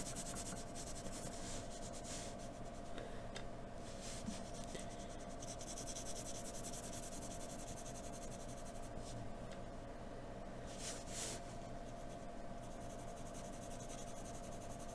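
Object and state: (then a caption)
Paper sheet shaded with graphite pencil. A hand shades on a white paper sheet with a graphite pencil, rubbing and scratching the surface. The sound is a soft, steady, low-level scratchy rubbing with occasional brighter strokes standing out across the clip.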